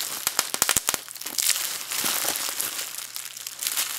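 A small wad of clear plastic bubble wrap is squeezed in the hands as the fingers pop its bubbles and crinkle the sheet. Sharp, bright pops come in a quick cluster during the first second, then give way to a steady, dense crinkling hiss with a few scattered snaps.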